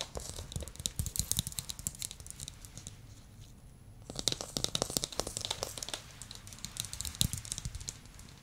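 A small glossy blue plastic ball, held up, is tapped rapidly with fingernails and fingertips, giving a quick run of bright, dry clicks and soft thuds. The taps die away almost instantly, pause briefly near the middle, then resume at the same busy pace.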